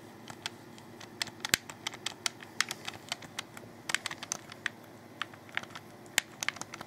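Fingers click and tap a hollow black plastic Xbox 360 controller held close, giving about 28 sharp, bright, dry clicks at an uneven pace. Each click dies away almost instantly over a soft, steady hiss.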